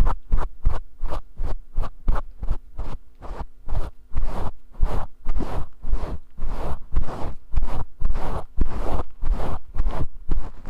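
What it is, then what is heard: Faux fur microphone windscreen being scratched. Fingers and nails scratch through the long fibers of a grey faux fur windscreen on a microphone. About twenty close, boomy rustling strokes come in an uneven rhythm, each a short muffled burst with heavy low rumble, growing fuller and denser in the second half.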